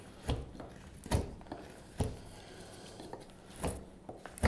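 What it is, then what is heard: Wooden spoon blank being carved. A carving knife shaves the bowl of a solid, pale wooden spoon blank held in the hand, working in short strokes. Each stroke makes a brief, dull scrape or chip with a low, muffled body and little brightness. The strokes come at an uneven pace, with quiet rubbing between them.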